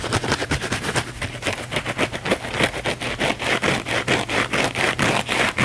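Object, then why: Thin flexible foam sponge. A thin, flexible blue foam sponge held in the hands is scratched fast and hard with the fingernails. Quick, dry, bright scratching strokes come about four per second at an uneven rhythm, each one short and sharp with no ring. A faint steady low hum sits underneath.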